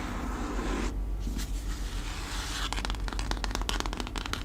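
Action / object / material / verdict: scrape / hardback book, cardboard cover and paper / cardboard / none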